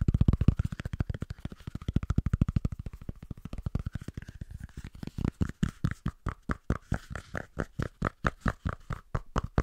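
A small, thick, round cork coaster is held between both hands and tapped rapidly with the fingertips, producing roughly 57 dull, low, muffled thuds with almost no ring. The taps come in a fast, dense flurry at first, then become more spaced out and slightly brighter after about five seconds.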